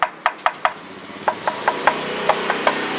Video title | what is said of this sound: review knalpot R9 H2 titanium VS motegi honda cbr 250rr | Kalau kalian nggak percaya ini kosong, bisa diketok suaranya.